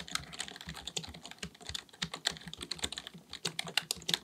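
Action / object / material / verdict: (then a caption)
tap / plastic computer keyboard / plastic / none. Both hands type continuously with their fingertips on a black, full-size plastic keyboard with a hollow body, possibly mechanical, resting on a desk. A rapid, steady stream of crisp, bright key taps is heard, each dying out almost instantly. There is only a faint low thump beneath them.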